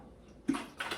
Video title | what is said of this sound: Don't Count Your Chickens Before They Hatch (How To Brine a Turkey) | I put two gallons of water in there you might hear it sloshing around